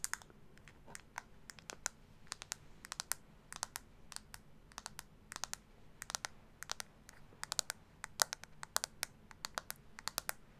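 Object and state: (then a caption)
Plastic makeup compact tapped with nails. A small, round, hollow pink plastic blush compact is tapped and scratched with long acrylic nails. Quick, sharp, bright clicks come in irregular bursts over a faint low hum, each dying away almost instantly.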